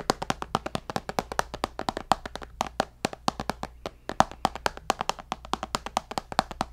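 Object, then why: Tablet glass screen. A tablet's glass screen, held beside the mic, is tapped rapidly with fingertips and nails. About fifty short, dry clicks follow one another with almost no ring; each has a bright edge and a tonal note near 770 Hz.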